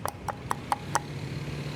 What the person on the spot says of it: They are made of wood. You can hear it when I knock.